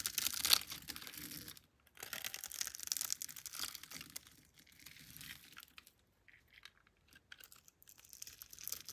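A solid pink, palm-sized bar of soap held in the hand is scored in a grid and shaved with a metal blade, with flakes falling off. Dry, bright scraping and crisp crackling come in uneven bursts, loudest at the start and separated by brief silences. There is almost no low end and no ring after each scrape.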